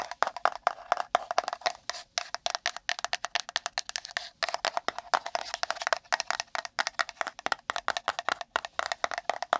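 Long nails rapidly tap, rub and scratch a small, empty, pink printed cardboard gift box held near the microphone. The result is a fast, uneven run of dry, hollow clicks and scratchy bursts. Each sound has a papery midrange tone around 690 Hz with some bright edge, and each dies away almost instantly.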